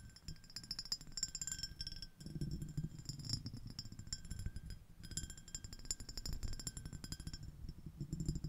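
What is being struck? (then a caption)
Ribbed glass shell-shaped dish. Long acrylic nails tap and scratch a small, empty, clear iridescent ribbed glass shell-shaped dish, giving rapid dense clicks and scrapes. Bright ringing glassy tones sit above a low rumble from the scratching, and each tap fades almost at once.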